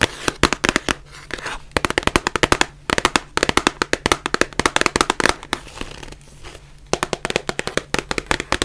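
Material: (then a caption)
Cardboard. Long nails tap and scratch the sides of a small white printed cardboard box of surgical masks, hollow and likely partly full. About fifty sharp, dry clicks come in quick bursts, separated by short pauses filled with a soft, bright scratching hiss. A faint steady low hum runs underneath.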